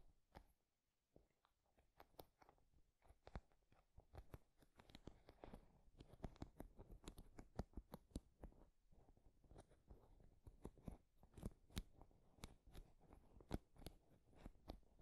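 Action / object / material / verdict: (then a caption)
scrape / wooden paddle hairbrush with wooden pins / wood / none. Fingertips and nails scratch and flick through the wooden pins of a wooden paddle hairbrush resting on a dark cushion. A quiet, steady stream of short, dry clicks and crisp ticks sounds over a soft scratching texture, with brief bright snaps standing out now and then. Each flick dies away almost instantly.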